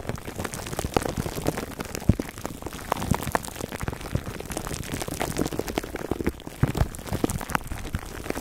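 Fingertips scratch the sides of a foam microphone cover wrapped in clear plastic, close up. It makes a dense, continuous crinkling and scratching with a strong low, muffled body and frequent sharp, dry pops scattered throughout.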